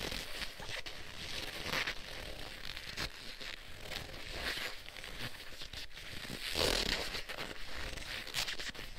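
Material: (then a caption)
Leather. Black leather gloves are worn on both hands, the gloved fingers interlaced and rubbed together in leather-on-leather friction. The result is a steady, close-up creaking and scratchy rubbing with brighter swells of squeaky friction that rise and fall through the clip.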